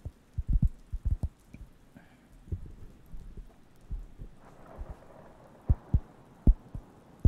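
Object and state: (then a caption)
Wooden coaster. A round, flat, thin, solid wooden coaster, cork-like in feel, is held close to the microphones and scratched and tapped with fingertips. Soft, dull, low thuds come at an irregular pace over faint scratching, each dying away almost at once. A few of the later taps stand out louder than the rest.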